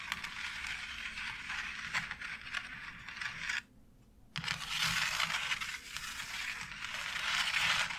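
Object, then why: Embossed plastic wall panel. Long nails scratch across the embossed texture of a white plastic faux brick wall tile, making a continuous, bright, rasping scrape. The scratching stops briefly for a near-silent gap just before the midpoint, then resumes a little louder and denser until the end.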